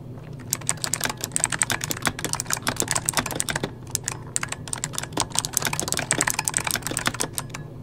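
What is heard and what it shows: Fingertips of both hands type rapidly on a full-size backlit mechanical computer keyboard with plastic keycaps. The result is a dense, continuous stream of sharp, bright key clicks that fade almost instantly, with a brief lull near the middle, over a faint steady low hum.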